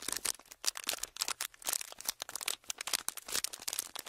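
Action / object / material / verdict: scrape / clear plastic packaging / plastic / none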